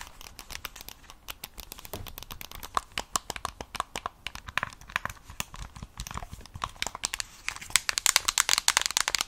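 Long acrylic nails tap and scratch the back and edges of a Nintendo Switch Lite in a mint plastic case with stickers. Rapid, dry, bright clicks and crinkly scratching come in dense bursts, with no ring after each hit. The taps grow busier and louder toward the end.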